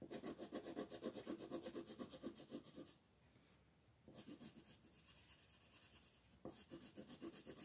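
A wooden colored pencil, held by a hand with long nails, scratches and rubs across a flat paper coloring page in continuous shading strokes. A rapid, steady back-and-forth rasp of about four strokes per second runs for about three seconds, falls to a quiet hiss for about a second, then resumes more softly and picks up again near the end.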